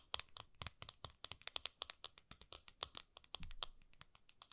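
A flat, round gold metal tin is held horizontally while long nails scratch and tap the top of its lid. The result is a quick run of many sharp, bright clicks with crinkly scratching between them. Each tap stops almost at once, with hardly any ring.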